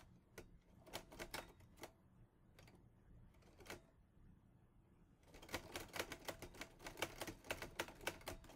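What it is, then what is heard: Metal portable typewriter being typed on. A teal metal portable Olivetti Lettera 22 typewriter is typed on with fingertips. Sharp, bright key strikes come in irregular bursts, with a quieter gap in the middle before a denser, louder run of keystrokes toward the end.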